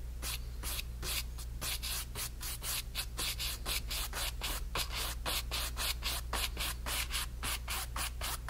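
A flat brush is stroked vigorously back and forth across the fabric texture of a painted, stretched cotton canvas panel. The result is a rapid, fairly steady run of bright, airy brushing and rubbing swishes, about two per second, over a constant low hum.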